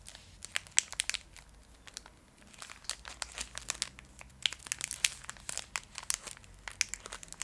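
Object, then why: Foil candy bar wrapper. A full, small Fry's Turkish Delight bar in a shiny foil wrapper is held close and scratched and squeezed with long acrylic nails, crinkling the wrapper. The result is a dense run of sharp, bright crackles and crinkles with almost no low end, easing briefly near the two-second mark before picking up again.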